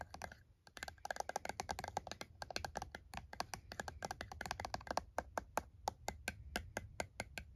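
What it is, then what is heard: Plastic calculator keys tapped. One hand presses and taps the keys of a plastic TI-34 scientific calculator lying on a towel, using the fingertips. Short, dry plastic clicks come in a quick, irregular run at first, then settle into more evenly spaced taps. Each click is bright and dies away almost instantly over a faint low background rumble.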